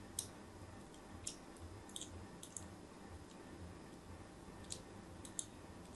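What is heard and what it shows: A thin metal blade scores crosshatch lines into the face of a solid white soap bar held in the hand, making short, sharp, bright clicks and scrapes spaced irregularly over a quiet, low, steady rumble.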